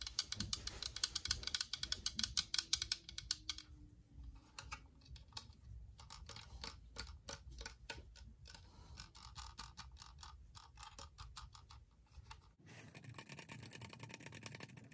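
Long pointed painted nails tap rapidly on the white hollow plastic shell of a UV nail lamp, making a dense run of sharp, bright clicks. The tapping is quick and busy at first, thins into looser bursts in the middle, then turns into a faster, hissier flurry for the last couple of seconds.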